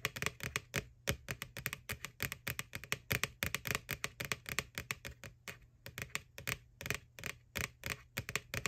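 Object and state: Plastic Halloween bucket.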